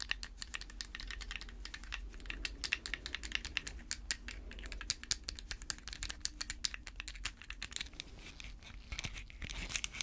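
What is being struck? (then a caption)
Plastic pill bottle. A small hollow white plastic pill bottle with a screw cap, held in latex-gloved hands, is tapped and scratched with long red fake nails. A rapid, steady stream of sharp, bright clicks rides over soft scratching and a low background hum. Each tap is dry and dies almost instantly.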